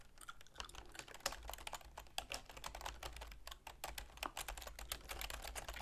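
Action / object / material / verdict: tap / plastic computer keyboard / plastic / none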